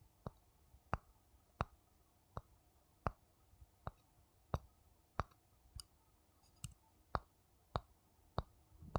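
A small, hollow, empty wooden bowl held in the hand is tapped on the outside with a thin wooden stick, giving 14 separate dry, sharp clicks at an irregular, unhurried pace. Each tap is a quick knock with a faint low body and a brief bright tick that dies away almost at once over a quiet background.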